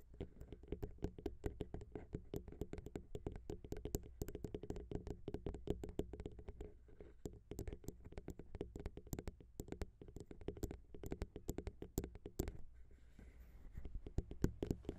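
Long pink acrylic nails tap rapidly on the pair of small, hollow chrome metal XY microphone capsules of a grey Zoom H6 recorder. The result is a dense run of quick, dry clicks with a deep low thump under each and a bright tick on top, dying away almost instantly.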